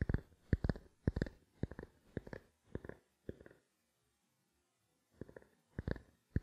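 A small, black, hollow plastic camera lens cap held in the palm is tapped with fingertips and nails. Quick clusters of soft, dull, hollow taps come in an uneven rhythm, with a long silent pause before the tapping resumes.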